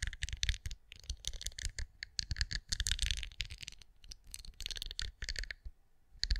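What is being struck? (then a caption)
Pinecone-shaped wax candle. Long acrylic nails scratch and tap a hand-sized, cream, pinecone-shaped wax candle that appears solid. The result is a quick, uneven stream of crisp clicky taps and scratchy rasps, bright on top with soft low thumps underneath. Each tick stops dead with no ring, separated by brief pauses.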